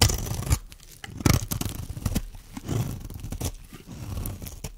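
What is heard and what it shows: A metal blade shaves flakes from the corner of a solid, dry white bar of soap held in the hand. Crisp scraping strokes come through as short broadband bursts with a low, dull body and a bright crackle on top. Fine soap flakes are shaved away.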